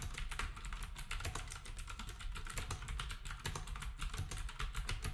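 Fingertips type steadily on a black compact plastic typewriter-style keyboard with round plastic keycaps, while other devices nearby stay untouched. The rapid keystrokes blend into a continuous run of bright, crisp clacks over a heavy low thump, each stroke dying away quickly.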